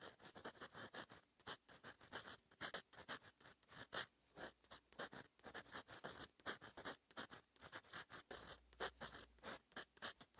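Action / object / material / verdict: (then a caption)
scrape / metal-nib fountain pen on lined paper sheet / paper / none. The metal nib of a fountain pen, held in fingers, scratches across a flat sheet of lined writing paper in continuous handwriting. It makes a quick run of short, dry, bright scratching strokes with brief pauses between them and almost no low end.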